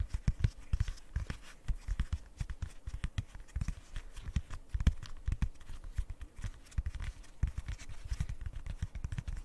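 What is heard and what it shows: A rainbow square silicone pop-it fidget toy is tapped and scratched with long nails. The result is a rapid, uneven run of short, dull, low thumps with very little ring, overlaid by faint bright scratching.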